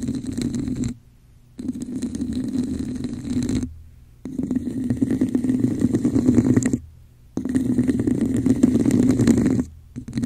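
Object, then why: Textured plastic cup. A hollow red textured plastic cup placed over a microphone is tapped on its base and scratched along its sides with long acrylic nails. Dense, rapid bursts of scratchy tapping with a muffled, hollow low resonance come in several stretches, separated by short near-silent pauses.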